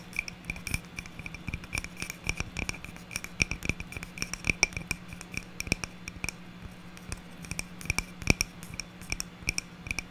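Long natural nails scratch and tap the flat face of a small, solid, round wood slice ornament with a bark edge, held in one hand. Quick, dry, bright clicks and light scratches come in an uneven stream, each dying away almost at once. A faint, steady low hum runs underneath.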